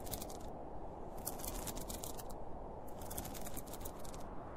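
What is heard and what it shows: Fingertips and short nails scratch along the top and zipper edge of a hollow, closed, zippered school pencil case made of polyester fabric with a printed cartoon panel, lying on a blue plastic lid. Bursts of bright, crisp scratching come and go over a steady low rumble, with a quieter pause in the middle.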